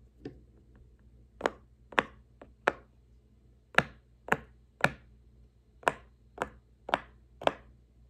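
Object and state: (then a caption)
Silicone pop-it fidget toy being popped. Fingertips press the hollow bubbles of a large square rainbow silicone push-pop fidget toy resting on a wooden table. About ten short, crisp pops come at an uneven pace over a low steady hum, each a bright, dry snap that dies away almost instantly.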